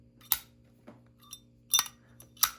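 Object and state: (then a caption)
Sterling silver lighter case ping. A Zippo lighter with a sterling silver and copper case is flicked open and snapped repeatedly. Each flick gives a short, bright metallic ping that dies away almost at once, with softer clicks between the sharp strikes. The clear, high ping is typical of sterling silver.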